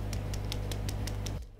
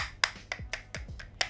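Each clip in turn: First: Seven quick, dry knocks with no boom: a flexible rubber tripod leg that is solidly filled. Second: Quick, dry, high clicks with no ring: a folded plastic mini tripod knocked, plasticky but not flimsy.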